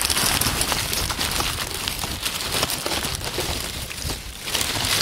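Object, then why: Pile of dry oak leaves. Hands dig into, squeeze and crush a heap of dry brown oak leaves on a wooden table. A dense, bright crackling rustle runs continuously, with a low rumble underneath. It holds a steady level except for a brief softer stretch near the end.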